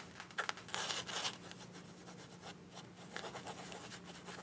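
A green printed fabric zip pouch is held in both hands while long nails scratch and rub across its fabric surface. The result is a string of dry, bright scratching bursts, densest in the first second and a half and again near the end, over a faint steady low hum.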